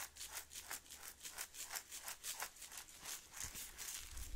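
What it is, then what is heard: Glass jar partly filled with instant coffee granules, shaken. A Maxwell House glass instant coffee jar, partly full of granules and closed with a blue plastic lid, is held in one hand and shaken and turned close to the mic. The granules make soft, bright, hissing rattles in a steady back-and-forth rhythm of about three strokes per second, with a faint low rumble near the end.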